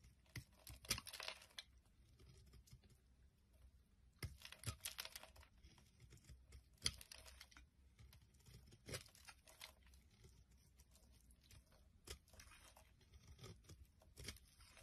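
A metal blade scrapes and carves a solid green-and-white bar of soap into chips. The sound is a series of dry, crackly scraping bursts with a bright, crisp edge, separated by quieter stretches over a faint low hum.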